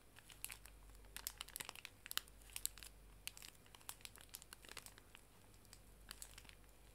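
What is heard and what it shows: A full, small pink pocket tissue pack wrapped in plastic film is held horizontally and squeezed and crinkled with fingertips and long nails. Quiet, irregular bursts of sharp, bright crinkling and crackling snap over a faint low hum.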